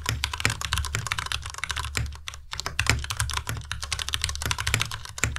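A white tenkeyless Ducky Miya Pro mechanical keyboard with plastic keycaps is typed on rapidly with the fingertips of both hands. The steady stream of keystrokes gives bright clacks over a low, thocky body, with a brief lull in the middle before the typing resumes.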